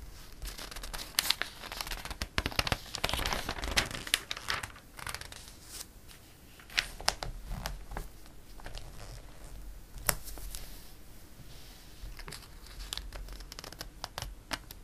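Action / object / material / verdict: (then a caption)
scrape / glossy coated paper catalog / coated paper / none. A page of a glossy paper catalog is turned and fingertips rub across the coated paper. Crisp, bright crinkling and rustling is broken by sharp paper snaps, with a louder flurry early on and scattered quieter rubbing later.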